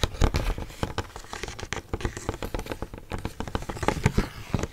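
Long painted fingernails tap quickly over a rigid, hand-sized pink plastic display tray holding makeup brushes, thin and hollow-molded, held in both hands close to the mic. Dense, irregular clicky taps with a slight crinkly texture follow one another with almost no ring, each with a soft low thump beneath the bright click.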